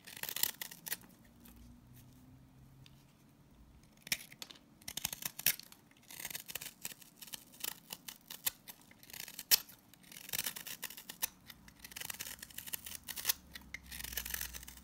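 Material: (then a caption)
Salt soap. A utility blade shaves curls and crumbs along the edge of a green, solid salt scrub soap bar held in the hand. Dry, gritty scraping and crackling come in uneven bursts with brief pauses between them. The sound is bright and high, with almost no low end.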